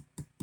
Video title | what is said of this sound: Harmony plywood guitar repair part 6 and parlor guitar build | it's got a nice tap tone